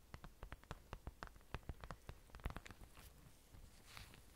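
Long orange nails tap and scratch the surface of a flat parchment-style card certificate inside a thin plastic sleeve. Quick, crisp, dry clicks come in an uneven series, each dying away almost instantly. Toward the end the taps thin out into a faint, airy scratching hiss.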